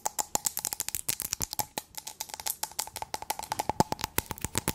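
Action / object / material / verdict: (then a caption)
tap / small glass cup with blue contents / glass / none. A small clear glass cup or candle jar filled with a blue substance is held in the hands and tapped and scratched with long acrylic nails. About 36 rapid, irregular, bright clicks ring briefly with a faint glassy tone near 870 Hz, mixed with soft scratching between taps.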